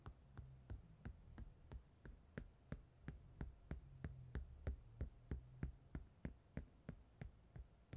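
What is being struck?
Chunky glitter fabric over a padded surface, scratched by a metal-pin comb.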